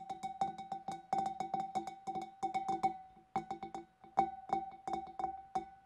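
Long dark nails tap the rim and neck of a large, clear, empty glass fish bowl in quick, uneven bursts of light clicks. Each tap rings a short glassy tone near 780 Hz with bright tick edges, fading within a fraction of a second.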